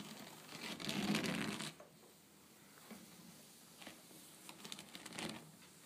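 Long painted nails tap and scratch quickly across a flat woven rattan and wicker tabletop. A dense, bright scratching burst in the first seconds drops into quiet, then soft scattered taps lead to a quick flurry of light clicks and scrapes near the end.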